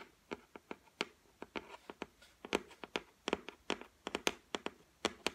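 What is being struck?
Laminated wooden shelf.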